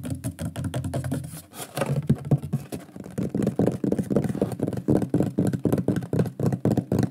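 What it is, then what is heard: Wooden board tapped. Fingertips and nails tap and knock quickly on the front face of a large, flat, solid shield-shaped wooden pyrography plaque with a wood-burned lion drawing, held upright. The result is a fast, slightly uneven patter of dull, low, hollow-sounding knocks, about four per second, each dying away almost instantly with no ring.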